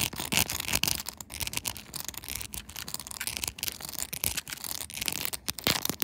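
Long nails rapidly scratch and tap the pink plastic buttons glued onto a clear plastic phone case fitted on a smartphone. The result is a dense, bright, crackly stream of scraping with sharp, short clicks mixed throughout, mostly high in tone with little low end.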